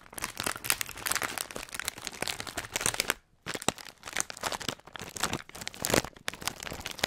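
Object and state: Plastic foil snack bag.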